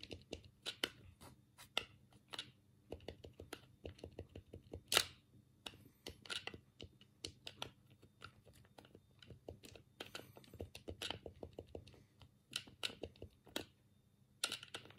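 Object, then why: Plastic game controller. A black, hollow plastic Sega Mega Drive game pad is held in both hands while the thumbs press its D-pad and buttons. The result is a quiet, rapid, irregular run of short, bright plastic clicks and taps, each dying away almost instantly, with a few sharper, louder presses standing out.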